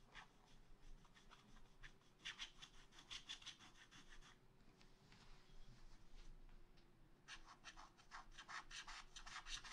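A wooden stylus scratches a second tree into a black wax-coated scratch art paper page in a spiral pad. Quick, bright, dry scratching strokes come in bursts, with a softer stretch in the middle, over a faint steady low hum.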